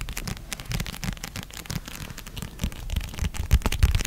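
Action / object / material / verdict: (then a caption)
tap / paperback book with glossy cover / paper / none. A red paperback novel of solid paper with a glossy cover is tapped and scratched on its cover and edges with long red-painted nails. Quick, uneven soft thuds mix with dry scratchy rustling, and the taps grow louder and heavier toward the end.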